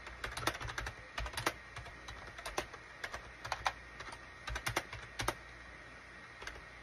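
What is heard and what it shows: Fingertips type on a full-size gray and cream SHIPADOO K600 wired USB keyboard with a hollow plastic case, resting on a desk mat. The keys give short, sharp plastic clacks with a bright top end, arriving in quick irregular bursts with brief pauses. A faint steady low hum and a thin tone sit underneath throughout.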